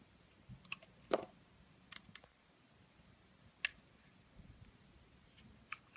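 A solid purple oval bar of soap held in the hand is scraped first with a utility blade and then with an orange vegetable peeler. Eight short, crisp, bright clicks and scrapes stand out against a quiet, low hiss, each ending almost instantly and spaced unevenly.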